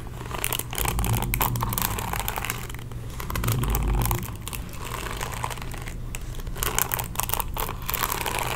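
Fingertips and nails scratch across the bristles of a pink plastic paddle hairbrush held up close. The result is a dense, irregular stream of crisp, crinkly scratches and bright clicks over a steady low rumble, swelling slightly around the middle of the clip.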